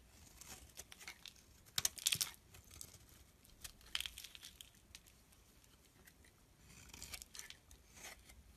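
A solid mauve bar of soap held in the palm is scraped across its surface by a metal blade, curling off shavings. The result is a quiet, bright, dry series of crisp scraping and crinkling strokes. The loudest bursts come around two seconds in.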